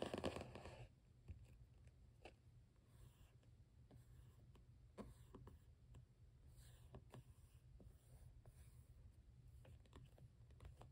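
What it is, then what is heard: Cardboard sketchbook cover. Fingertips and short nails scratch, tap and rub across the blue cardboard cover of a closed Canson XL spiral sketchbook. A louder burst of rubbing at the start gives way to quiet, dry scratches and scattered soft taps over a steady low hum.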